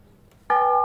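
A cast metal bell that once hung in a stair tower is struck once, giving a bright ringing tone centered near 790 Hz with strong overtones that sustain to the end of the clip. The bell needs to be struck a bit harder.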